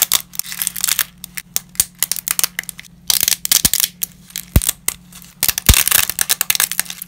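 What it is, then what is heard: Dry lasagna pasta breaking. Black-gloved fingers break small pieces of uncooked wavy lasagna into fragments over a scattered pile of pasta. The result is a rapid series of dry, bright snaps and cracks, some clustered into crackling bursts, each dying away almost instantly over a faint steady low hum.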